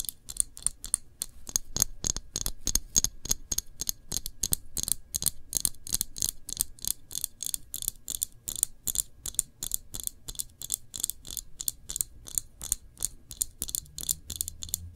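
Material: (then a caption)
Glass. Fingernails tap around the label and glass body of a full glass jam jar held front-on. The result is a rapid, uneven stream of about 60 short, bright clicks that stop instantly with almost no ring, plus a faint low rumble underneath.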